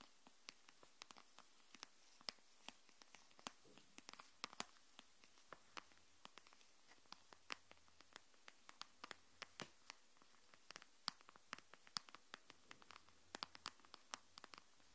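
Long nails tap and scratch a thin green glitter plastic phone case lying face down on a wooden table. The result is a quiet, irregular stream of sharp, bright clicks and scrapes that die away almost instantly.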